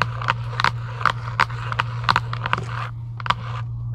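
Long acrylic nails scratch and tap quickly on a giant UNO cardboard game box lying flat, its hollow body giving each tap a dry, short knock centered near 1.2 kHz. A quick series of sharp taps rides over continuous bright scratching, with a steady low hum underneath throughout.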